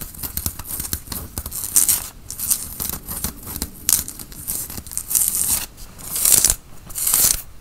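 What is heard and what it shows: Fingernails scratch the front and sleeves of a worn grey tie-dye cotton t-shirt while the arms are crossed. The result is a run of bright, rasping fabric scratches in quick bursts, some louder and longer strokes standing out, with a thin, dry texture and little low-end body.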